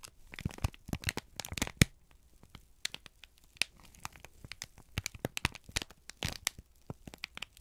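A folded, crinkled sheet of brown kraft paper is held in both hands and squeezed, bent and crumpled with the fingertips. The result is a quiet, irregular string of sharp, dry crackles and crinkles with bright tearing-like edges. Short pauses of near silence fall between the bursts.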